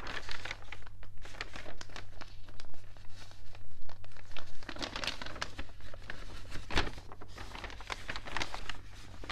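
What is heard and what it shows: Flat hands rub the thin, wavy pages of an open, water-damaged paper newspaper, and fingers turn a page. The result is a steady run of soft crinkling and crumpling with bright, papery rustles over a low steady hum.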